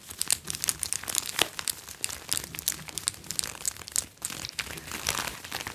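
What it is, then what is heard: PVC vinyl top being scratched. Fingertips and nails scratch and rub the chest of a glossy red PVC vinyl top, a thin flexible sheet over a soft backing, worn on the upper body. A dense stream of bright, crinkly scratches and squeaks comes in quick bursts, with no ring after each stroke.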